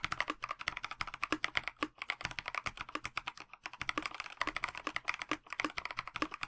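Two fingertip-typing hands tap a KBD67 Lite 65% mechanical keyboard with a plastic case, translucent backlit PBT keycaps and stock Dinokey Mint linear switches, resting on a desk mat. Rapid, continuous short clacks run with only brief pauses, each tap crisp and bright with almost no low end and very short ring.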